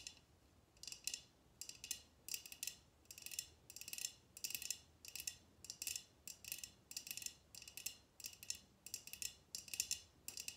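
Long red-painted nails tap a tall, clear, empty glass tumbler held upright in both hands on a glass table. The result is a steady series of short bursts of rapid, light, bright clicking taps with almost no ring and no low end, separated by brief quiet pauses.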